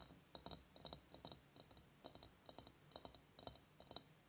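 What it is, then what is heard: Glass surface tapped. Fingertips tap on a glass object in quick, irregular bursts. Each tap makes a short, bright clink with high overtones that die away almost at once, over a quiet background.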